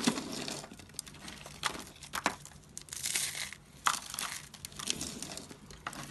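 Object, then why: Soap curls and shavings. Fingers pick up and squeeze brittle pink, blue and cream dry soap curls and shavings from a box, crumbling them into flakes. The result is a steady stream of dry, crisp crackling and crunching with bright, sharp snaps and little low end, rising and falling in short bursts as each handful breaks apart.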